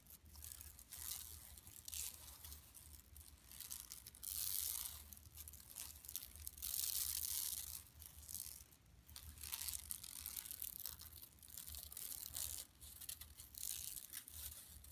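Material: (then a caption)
Woven plastic. Long nails scratch a large, flat, yellow woven plastic mesh shopping tote lying empty on carpet, first with one hand and then with both. The result is a steady, bright, crinkly scraping and rasping, with louder, denser bursts of scratching coming and going over a faint low hum.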